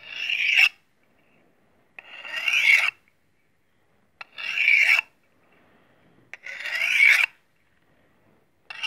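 A medium, solid-bladed stainless steel kitchen knife is held in the hands and drawn repeatedly along a steel honing rod, metal on metal. Each stroke opens with a short click and swells into a bright, rasping scrape that cuts off sharply. Five strokes come in an even rhythm, the last cut off at the end, with near-silence between them.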